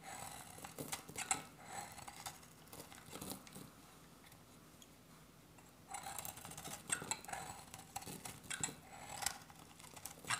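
A hand-sized oval bar of dry soap, beige inside with a copper rim, is shaved with a metal utility-knife blade in repeated scraping cuts. Crisp, bright, scratchy strokes carry a faint tone near 785 Hz, pause briefly in the middle of the clip, then resume.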